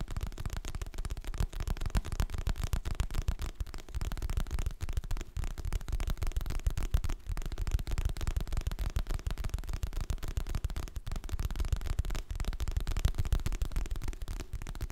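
Fingertips and nails tap rapidly and irregularly on the glossy printed cover of a solid, medium hardcover paper book held in both hands. The taps are dull, low thuds with very short decay and little bright content, continuing steadily for the whole clip.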